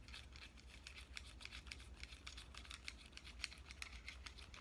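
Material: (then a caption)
Plastic. A pink compact digital camera is held in both hands while fingernails tap and scratch its body and screen. Quick, irregular, light clicks and scrapes sound bright and crisp over a steady low hum.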